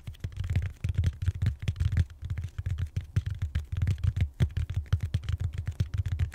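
Fingertips and short nails tap and scratch the textured surface of a large, solid purple foam back roller held horizontally. The result is a rapid, uneven patter of dull, deep thumps with a soft scratchy texture between them, each hit dying away almost instantly.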